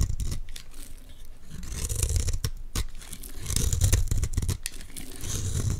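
A utility knife blade scrapes thin, layered flakes off a solid square green Dalan olive oil bar soap held in the hands. The sound is a run of rough, crackly scraping strokes with a heavy low rumble underneath and bright hissy bursts as each flake peels away.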